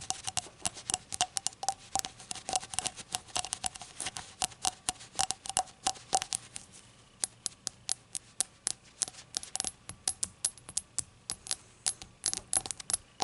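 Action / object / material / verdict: tap / small glazed glass or ceramic shot glass / glazed glass / none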